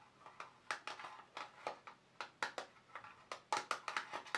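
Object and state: Plastic watercolour paint box.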